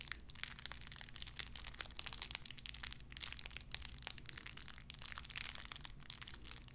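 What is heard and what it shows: A small clear plastic bag wrapped around a tiny white figurine is crinkled and squeezed between fingertips with long red nails. Dense, bright crackling and sharp crinkles run continuously over a faint steady low hum, with quick snaps that die away almost at once.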